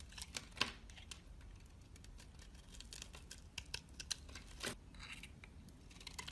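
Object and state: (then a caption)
Black soap bar being shaved. A utility knife blade scrapes and shaves brown curls from a rectangular, solid, palm-sized dark black soap bar held in the hand. The sound is a quiet run of crisp, bright scraping and shaving ticks with short rasps, each dying away almost at once.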